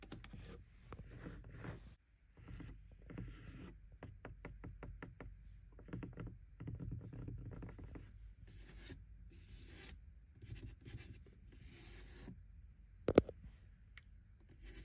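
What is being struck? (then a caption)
Suede-covered padded car door panel. Long pink-tipped nails and fingertips scratch and rub across the grey suede (Alcantara) interior door trim panel of a McLaren GT, a large, padded, solid panel beside the black window switch cluster. Quiet, muffled rustling and scraping fill the clip, with a run of quick short scratches around the four-second mark. One sharper, louder tap lands near thirteen seconds.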